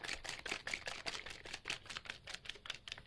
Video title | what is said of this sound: Skincare DIY's + Bonus Beauty DIY/Tip | you can hear it sort of thickening up